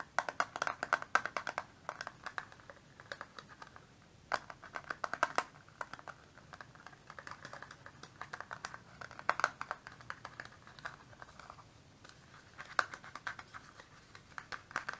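A small, hollow, flat rectangular plastic eyeshadow palette with a clear lid and black base is held close and tapped quickly with fingertips and nails along its top and edge. It gives rapid bursts of light, dry, clicky taps with a hollow plastic ring around 1.5 kHz and a bright edge, separated by brief quiet pauses over the whole clip.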